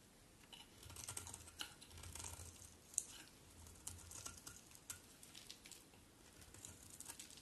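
A solid cream-colored bar of soap held in the hand is carved with a metal utility knife blade, with repeated shaving strokes taking off thin flakes. Each stroke gives a quiet, dry, crisp scrape with bright crackling that stops at once, along with a faint low rumble underneath.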